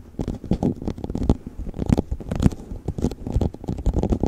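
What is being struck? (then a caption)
Thin plastic cup. An empty clear plastic cup, turned upside down over a furry mic cover, is tapped with fingertips and nails on its sides and bottom. The result is a quick, irregular patter of hollow, muffled knocks with a low, boomy body and brief bright clicks.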